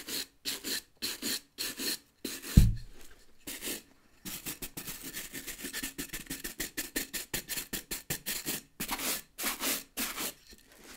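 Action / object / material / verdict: scrape / rubber boot sole scrubbed with a bristle brush / rubber / none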